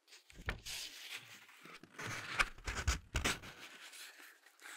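Fingertips and short nails scratch and tap the glossy printed paper pages of an open Ladybird picture dictionary as the pages are turned. Soft, bright papery scrapes and rustles are broken by irregular dull taps with low thumps, and each tap dies away almost at once.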